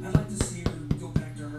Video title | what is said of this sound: Awesome Artisan Bread On The Road | that Hollow sound that means it's done